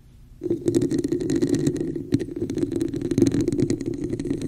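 Long acrylic nails rapidly tap and scratch the sides of a glossy, hollow, empty red plastic cup with a raised woven pattern, placed upside-down over the mic. After a brief near-silent start, a dense stream of quick clicks and scrapes begins, each with a hollow, resonant boom and bright ticks on top. It continues unbroken to the end.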